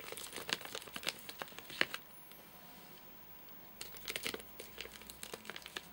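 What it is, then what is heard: Plastic-wrapped nougat bar. Four fingertips tap in rapid sequence on top of a full, flat rectangular Soft Nougat bar in a crinkly plastic wrapper. Quick, bright crinkling taps fill the first two seconds, fall quiet for nearly two seconds, then return in another run of sharp, dry crackles.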